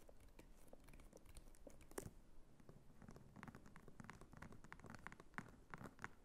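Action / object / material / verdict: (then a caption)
scrape / faux leather clutch with embossed croc texture / faux leather / none. Long nails scratch across the textured flap and top of a small red croc-embossed faux leather clutch. The result is a quiet, steady run of dry, crackly scratches and light taps, with a few sharper strokes standing out above a soft low rumble.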